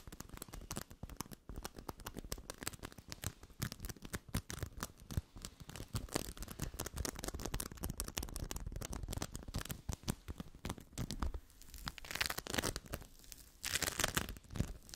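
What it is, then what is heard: Bead foam (sticky play foam). A small yellow ball of sticky bead foam (sticky play foam) is pressed and scratched with long nails and fingertips. The result is a dense, continuous crackling and scratching made of rapid tiny clicks and pops, full in the low end with bright, hissy rasps. Toward the end, brighter bursts of scratching come through.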